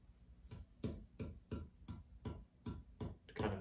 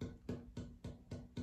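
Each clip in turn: First: cedar guitar top, responsive with good sustain. Second: spruce guitar top, tap tone.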